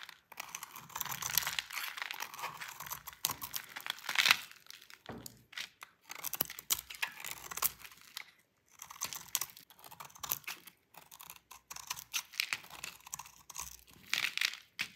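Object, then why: Soap bar scraped with a knife blade. A utility knife blade scrapes curled flakes off a solid, dry, cream-colored bar of soap with a painted purple edge. The scraping comes as crisp, crinkly bursts of bright, papery rasping separated by short pauses, with almost no low end.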